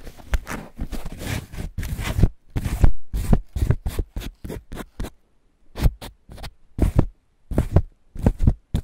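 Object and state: Corn cob in green husk.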